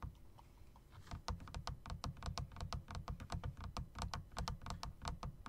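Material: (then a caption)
Plastic, metal. Fingertips with short dark nails type on a plastic and metal typewriter-style RGB mechanical keyboard with round plastic keycaps set in chrome rims. After a quiet first second, a quick, uneven run of keystrokes follows, each a short, low thud topped with a bright click that dies away almost at once.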